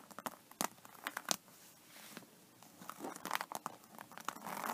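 Long painted fingernails of both hands scratch and tap a flat holographic faux snakeskin iPad case, covered in iridescent embossed snakeskin-textured synthetic leather and lying on a table. Quick, crisp clicks and bright crackly rasps come in irregular bursts, with longer soft scraping swells between them. The sound is quiet and thin, with almost no low end.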